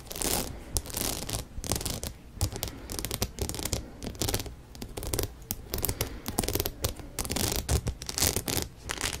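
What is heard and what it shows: A rhinestone-studded denim cap held upright beside a microphone has its surface scratched with long nails. Rapid, uneven bursts of dry, bright scratching and rasping continue throughout, carrying a steady low rumble underneath.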